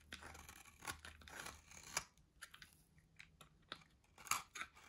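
A solid white dry soap bar held in the hand is shaved and carved with a metal box-cutter blade. The clip is made of crisp, bright scraping and crunching strokes that come at irregular intervals, with short dry rasps between louder cuts and very little low end.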